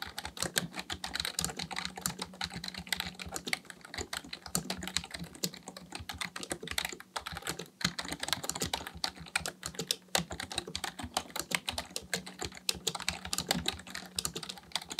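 Both hands type steadily with their fingertips on a black plastic full-size computer keyboard resting on a desk. The result is a fast, continuous stream of sharp, bright plastic key clicks that die away almost instantly, with uneven rhythm and occasional brief pauses. A faint low steady hum runs underneath.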